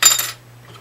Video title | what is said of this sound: make YOUR guitar play easier! gibson hummingbird | You can tell it's tusk. Hear that glassy sound?